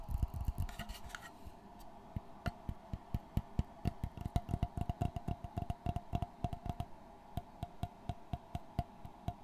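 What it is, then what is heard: Wooden framed board tapped and scratched. Fingertips tap and scratch the dark brown textured face of a flat board set in a light wooden frame, held upright. Many short, dry, low thumps come in a quick, uneven rhythm with almost no ring. A brief scratchy rustle near the start adds some brighter texture.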